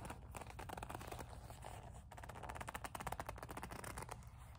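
Long nails grip, squeeze and scratch a small black leather coin purse with a metal kiss-lock. The result is a quiet, steady stream of rapid scratchy, squeaky rubbing strokes over a low rumble, with a slight pause partway through before the scratching resumes more sharply.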